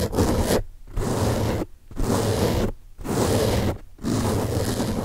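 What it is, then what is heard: Foam car sponge. Fingertips scratch the top surface of a large, soft, porous blue open-cell foam car sponge. Five rough, rustling scratching bursts come in a steady rhythm, separated by short silences, with a dense, low-heavy texture.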